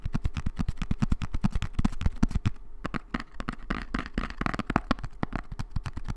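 A small, hollow brown kraft cardboard box is held in both hands and tapped quickly with long nails. The taps are dull, hollow and low, each with a short clicky edge that dies away almost at once, in an uneven stream. After a brief lull they continue with a bit more papery scratch between them.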